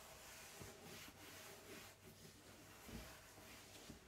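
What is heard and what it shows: A hand-held cloth rubs across a flat white melamine-coated particleboard shelf inside an open cabinet. It makes a quiet, steady, airy rubbing hiss with a bright edge. Faint low bumps recur as the strokes change direction.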